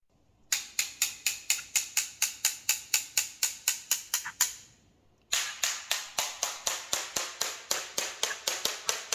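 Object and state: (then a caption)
Hollow floor tile. A ceramic floor tile is tapped in a fast, steady run of sharp, bright clicks with very short ring: 16 hits, a pause of nearly a second, then 17 more, 33 in all. The taps sound hollow, showing the tile has air pockets or voids beneath it from too little adhesive.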